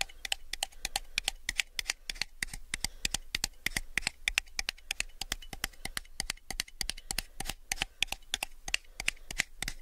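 A small, hollow, empty clear plastic cup held sideways is tapped and scratched along its side by fingernails. The result is a rapid, irregular run of sharp, bright clicks with quick, dry scratching between them, each tap dying away almost instantly over a faint low hum.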